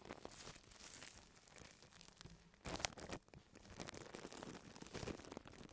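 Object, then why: Thin plastic bag. Fingertips of both hands scratch and press the film of a large, thin, white printed plastic bag lying flat and empty on a table. The result is a continuous bright crinkling and rustling, with a louder burst of crackling partway through before it settles back into softer scratching.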